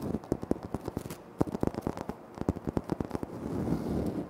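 Short nails scratch and fingertips tap on a flat, solid, speckled granite floor tile. A quick run of dry, crisp clicks with no ring, weighted to the low and middle range, gives way in the last second to a steady scratching rasp.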